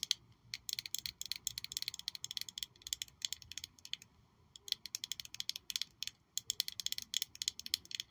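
A small black glossy glass perfume bottle shaped like a high-heel shoe with a red sole is held in one hand and tapped and scratched with long nails. The result is fast, dense bursts of sharp, bright clicks and ticks, broken by two brief pauses.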